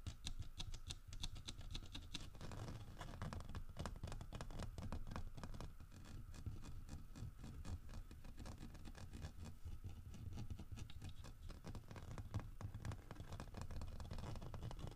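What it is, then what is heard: Carved wooden bear figurine. Fingernails tap and scratch the grooved, carved fur of a large, solid carved wooden bear figurine. The result is a steady run of quick, dry taps and scratchy rasps that stops short with almost no ring. The sound is quiet and low-heavy, with faint bright clicks on top.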